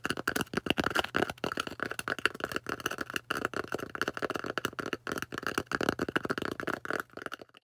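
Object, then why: Polystyrene foam disc. Long orange nails rapidly tap and scratch a thick, solid white polystyrene foam disc. The result is a dense run of dry, crisp clicks and squeaky, rasping scrapes, each dying away almost instantly, with a bright, hollow squeak running through the foam's tone.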